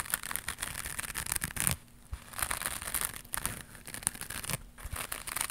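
A small, flat, white woven or crocheted fiber scrubber pad, soft and not hollow, is held in both hands and scratched and rubbed with long pink acrylic nails. The result is a dense, crackly scratching and rustling texture with short quiet pauses between bursts.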